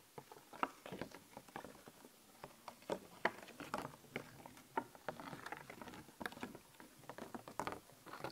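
Long nails tap and scratch over a thin, flat, glossy plastic sheet of skeleton-animal stickers held up in one hand. Quick, dry plastic clicks and crinkly scratches patter irregularly throughout, centered in the midrange with almost no low end and no ringing.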